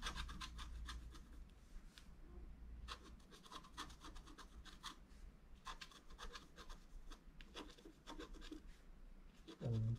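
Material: Coated paper.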